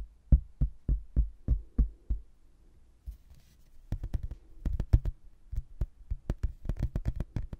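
A rigid, thin laminated hardboard placemat with a blue textured border and an abbey photo, held in both hands, is tapped with fingertips and nails. Seven evenly spaced, deep, dull knocks are followed by a short quiet gap, then a faster, uneven run of sharper taps with brighter clicks. Each tap stops almost at once.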